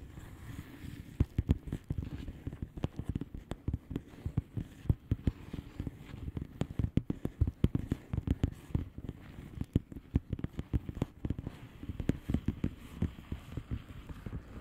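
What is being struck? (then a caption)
Plastic bubble wrap mailer. Long polished nails tap and scratch across the bubbles of a flat, hollow plastic bubble-wrap mailer lying on a surface. The result is a steady stream of quick, irregular, dull low taps with no ring, over a soft scratchy rustle.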